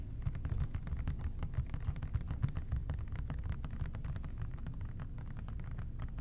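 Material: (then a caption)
Plastic. Fingertips tap rapidly and continuously on the body of a large labeled OxiClean plastic spray bottle with a white trigger head. The result is a dense stream of soft, low, muffled knocks that die away almost instantly.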